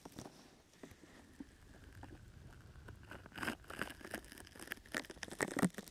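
Fingertips pat and scratch the sides of a brown, open-weave sticky foam rubber grip mat draped over a microphone. The result is quiet, close, crinkly scratching with soft tapping bursts that grow louder and busier in the second half, over a faint steady tone.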